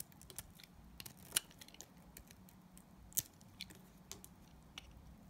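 A utility knife blade scrapes a solid translucent yellow glycerin soap bar, making a quiet, irregular series of short, crisp, bright scraping ticks with almost no ring. Two of the scrapes stand out louder and sharper than the rest over a low, steady background.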